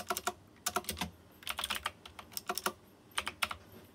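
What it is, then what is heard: Mechanical keyboard with metal-rimmed keycaps. Fingertips type on a white plastic mechanical keyboard with round chrome-rimmed keycaps. Crisp, bright clacks come in quick irregular bursts separated by short pauses, with almost no low end. Each keystroke stops almost instantly, with no ring.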